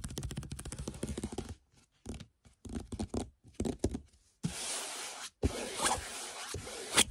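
Fingernails of both hands scratch across the surface of a large printed canvas picture of a red canyon lying flat on the floor. Quick, rapid scratching strokes come first, then short bursts separated by pauses, and finally a steady, bright, hissing scrape that breaks only briefly before continuing.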